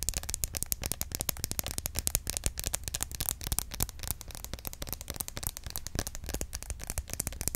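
A small, hollow green plastic roll-on deodorant bottle with a plastic cap is held sideways in both hands and tapped quickly with long acrylic nails. The result is a dense, continuous stream of sharp, bright, dry clicks that stop instantly, with no ringing, over a faint steady low hum.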